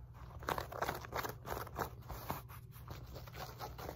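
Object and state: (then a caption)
Fabric resistance band being scratched. Long nails scratch and rub the woven fabric of a wide black elastic glute resistance loop band with a pink logo, lying on a lap. The result is a fast, irregular run of dry, scratchy rasps, mostly in the mid range, over a steady low hum.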